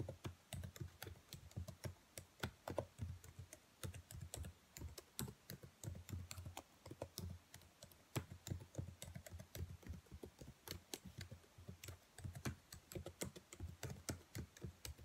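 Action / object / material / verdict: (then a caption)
tap / plastic laptop keyboard keys / plastic / none. Long nails tap the black plastic keys of a dark laptop keyboard in a typing motion, producing a steady, rapid stream of short, dry clicks. Each tap has a soft low thump under a bright tick and dies away almost instantly.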